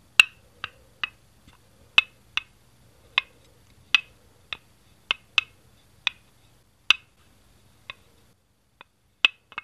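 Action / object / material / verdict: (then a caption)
tap / plastic toy brick / plastic / none. Fingertips tap and handle a single small green plastic Lego Duplo brick, about 2x4 studs and hollow underneath, lying on a green baseplate on a tile floor. A series of short, bright, hollow clicks sounds at irregular intervals, each dying away almost instantly with a sharp tone near 2.8 kHz.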